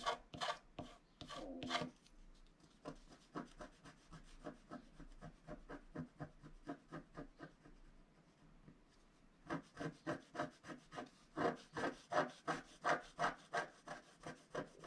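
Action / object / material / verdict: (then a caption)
scrape / scratch-art card scratched with a wooden stylus / coated paper / none. A wooden stylus scratches back and forth across the lower right area of a flat black-coated scratch-art card held pressed flat by one hand. A few loud, bright scraping strokes open the clip, followed by a quieter, steady run of short rasping strokes at roughly three per second. The strokes grow louder and brighter again for the last five seconds.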